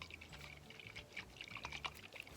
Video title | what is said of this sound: FIRSTKIDS FUN: Coconuts | there's actually water inside so pick one of those up and shake it